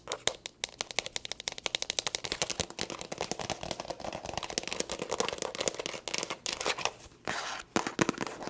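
Long nails tap fast and aggressively on the surface of a small, hollow black leather glasses case. Sharp, bright clicks come in a rapid stream with almost no low end and very little ring. The taps blur into a dense, scratchy patter midway, then break into a few brief pauses before ending.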